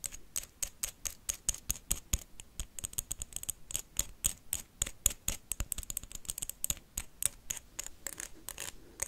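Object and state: Wax candle.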